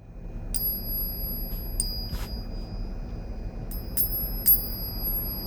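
A real 1963 Franklin half dollar in 90% silver is struck several times for the coin ring test, giving clear, high, bell-like pings with a sustained bright ringing tone over a low background rumble. The clean ring marks the coin as genuine silver, a sound counterfeits cannot duplicate.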